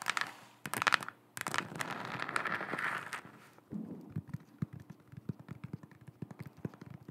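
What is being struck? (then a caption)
Hollow plastic sphere lamp. Long acrylic nails tap and scrape over a lit, head-sized, hollow plastic galaxy-print sphere lamp held in both hands. A few loud clicky bursts open the clip, followed by a stretch of bright, scratchy rubbing. It ends in a rapid run of dry, sharp taps with almost no ring.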